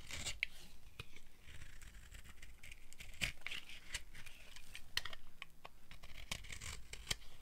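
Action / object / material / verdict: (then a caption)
scrape / bar of soap scraped with a blade / soap / none. A solid tan dry soap bar held in hand is scraped with a flat blade, producing crunchy shavings. Quiet, bright scraping bursts mix with sharp, brief crackling clicks that stop almost at once.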